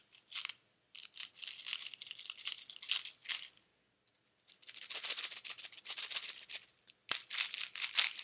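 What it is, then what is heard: Plastic pill bottle with tablets. A white plastic Advil bottle with pills inside is shaken by hand, so the pills rattle against the plastic in quick, bright, dry bursts. The shaking comes in two long spells separated by a short silence, with a sharper click near the end.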